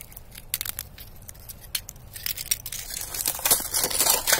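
A knit-gloved hand presses down on and crushes thin, clear plates and shards of ice lying on dirt and grass. Sharp, bright, glassy cracks and crackles snap out in quick, irregular bursts over a faint low rumble. The crunching grows denser and louder toward the end as the ice breaks apart.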